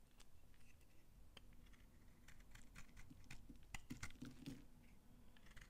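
A blade scrapes across an old, dry, solid pink soap bar held in the hand, breaking off crunchy flakes. The result is a quiet, steady run of short, dry crackling snaps and scrapes with bright edges over a low background rumble. The snaps grow slightly louder and denser toward the latter part of the clip.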